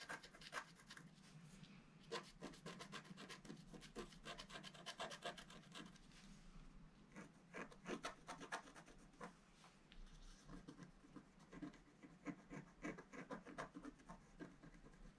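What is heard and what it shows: A wooden stylus scratches the coating off a flat black-coated scratch art card, working on the base of a vase in repeated strokes. Quiet, dry rasping scratches come in quick bursts with bright, gritty texture and almost no ring. The coating is steadily scraped away.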